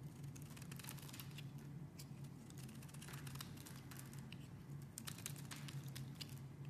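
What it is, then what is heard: Bar soap being carved. A metal blade carves a pink solid oval bar of soap held in the hand, cutting off chunks and shavings. Quiet, rapid, crisp scraping and crackling ticks flicker in the high range over a steady low hum.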